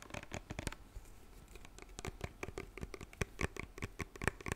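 A white lotion bottle with a pump cap, likely plastic, is tapped and scratched with fingertips and nails. The result is a quiet, irregular stream of dry, sharp clicks and light scratchy rubs that stop instantly with no ring, over a soft low rumble.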